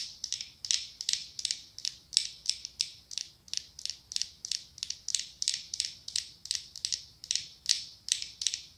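Long acrylic nails tap and scratch the ribbed glass of a medium pumpkin-shaped glass candle jar filled with orange wax. A steady, rhythmic run of quick, bright, high scratchy clicks plays, each burst dying away almost instantly with no low end.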